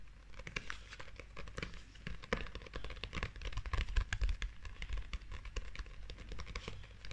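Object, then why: Glossy paperback book cover tapped and scratched with long fingernails. A small glossy paperback Sailor Moon manga book with a shiny, holographic-looking cover is held in both hands while long acrylic nails tap and scratch across the cover. The result is a quiet, continuous stream of rapid, dry clicks and scratchy crinkling with no ring after each tap, mixed with a low, soft rumble.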